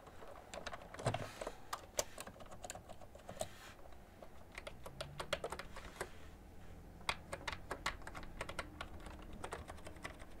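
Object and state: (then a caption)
Plastic computer keyboard being typed on. Fingertips with long nails type steadily on a full-size beige plastic ergonomic keyboard with hollow-housed keys. Quick, dry clicking taps come in uneven bursts over a low background hum, each one short and bright with no ring.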